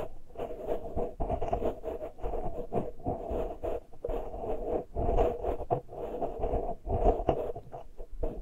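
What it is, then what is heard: Metal mesh microphone grilles being scratched. Fingernails of both hands scratch the uncovered metal mesh grilles of small X-Y microphone capsules on a Tascam recorder. The result is dense, close-up rasping and scratching in irregular bursts, with heavy low-frequency rumble and a hollow, resonant tone around 500 Hz. There is little high-end sparkle.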